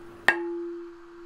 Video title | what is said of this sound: Laminate Sample #30: 6mm (0.25") Infused Carbon "Tooling" Plate | that's carbon lots of carbon not much resin